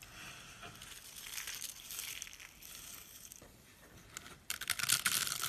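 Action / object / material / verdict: scrape / dry soap flakes and curls / soap / none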